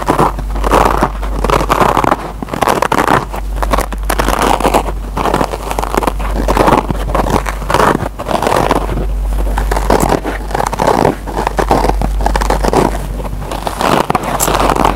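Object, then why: Foam kitchen sponge with nylon scour pad. Fingertips and short nails scratch the green nylon scour pad of a single solid yellow-and-green kitchen scrub sponge, made of foam with a nylon scour pad, resting on a table. The result is a dense, continuous scratchy crackle centered in the midrange, rising and falling in bursts over a steady low hum.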